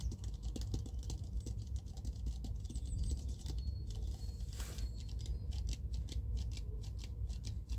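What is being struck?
Plastic jar filled with cotton pads.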